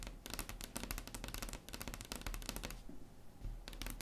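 Long acrylic nails tap quickly on a solid, flat wood-grain tabletop. The result is a rapid, uneven stream of sharp, bright clicks over a low, dull knocking body, with short pauses in the taps.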